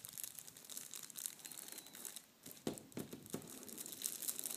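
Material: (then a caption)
Foil paper. A sheet of red metallic foil tissue paper is scratched and pinched by fingertips and nails, giving a steady, quiet, bright crinkle with fine crackling. A few louder, fuller crunches stand out near the middle before the crinkling continues to the end.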